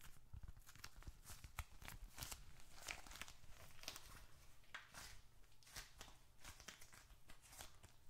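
A small closed bifold wallet of reddish-brown leather, holding paper bills and receipts, is gripped in both hands while fingertips drum rapidly on its leather surface. The result is quiet, quick clip-clop-like taps with bright, crisp clicks over a steady low rumble.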